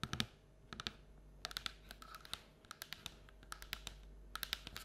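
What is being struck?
Paperboard bucket.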